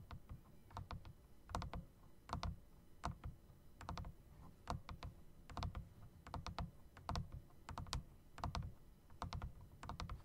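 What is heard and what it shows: A full-size backlit typewriter-style mechanical keyboard with round plastic keycaps set in chrome metal rings is typed on with the fingertips. Quick, irregular bursts of sharp key clicks have a deep thud underneath and die away almost instantly. Short pauses separate the runs of keystrokes.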